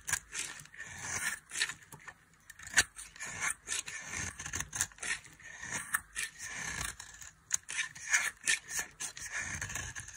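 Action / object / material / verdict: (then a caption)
scrape / bar of soap scraped with a metal knife / soap / none. A metal knife scrapes and carves a solid, dry soap bar with a red coating and a white interior. Repeated crisp, bright scraping strokes rasp and crackle in quick bursts with brief pauses between them. Each stroke ends abruptly, with almost no low end.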